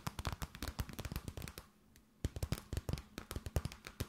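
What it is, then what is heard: Clear plastic bag. An empty transparent plastic bag, held tented, is tapped and crinkled with long nails. Quick, dry taps with a low thump and bright edges come in two dense bursts, separated by a brief quiet gap near the middle.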